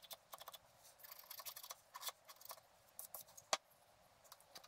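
A wooden stylus scratches the coating of a flat, black-coated scratch art card resting on a table. Quiet, dry, bright scratching strokes come in short, irregular bursts with almost no low end, and a sharper stroke stands out near the end.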